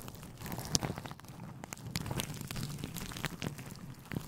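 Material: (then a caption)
Synthetic fur. A grey, fluffy synthetic fur windscreen covering a microphone is scratched and rubbed with fingertips and short nails. The sound is a close, muffled low rustling with scattered sharp, bright crackles and ticks at an uneven pace.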